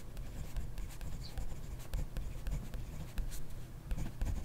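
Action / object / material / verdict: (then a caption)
scrape / ballpoint pen on grid paper notebook page / paper / none. A ballpoint pen writes continuously on a page of a grid paper notebook, its tip scratching across the paper. The sound is a soft, steady, low-heavy rustle broken by faint bright scratchy ticks as the strokes change.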